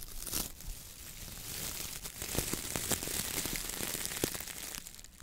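A hand grips, squeezes and rubs the stiff bristles of a coconut fiber (coir) dish brush head with a wooden handle. It makes a steady, bright, dry crinkling and scratching texture, scattered with short sharp crackles and snaps. The sound fades slightly at the end.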